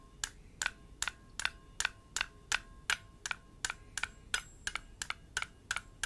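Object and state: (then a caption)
Enamelled metal baoding ball. A single palm-sized, blue enamel-painted hollow metal Chinese health ball is cupped in one hand while the fingertips of the other hand, wearing metal rings, tap and rub its surface. The result is a steady series of sharp, bright metallic clicks, about two to three per second and slightly uneven, each dying away almost at once over a faint, thin ringing tone and a quiet background.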